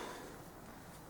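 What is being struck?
Nothing is struck.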